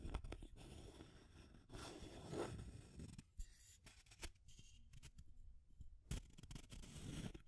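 Long fingernails tap the aluminum screw lid and scratch along the labeled side of a small clear plastic tube container with pink contents. Quiet, dry scraping and scratching textures alternate with sharp, short clicking taps that die away almost instantly. The sound stays soft and close throughout, with most of its energy low and only faint bright edges on the scratches.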